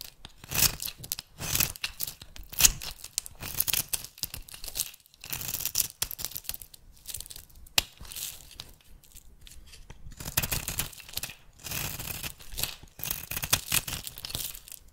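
A small metal blade shaves and scrapes flakes off one end of a solid oval bar of rancid purple soap, held in the hand with long-nailed painted fingertips gripping it. Bursts of crisp, bright, tearing scrapes come in quick strokes with short pauses between, dry and almost entirely high-pitched with little low end.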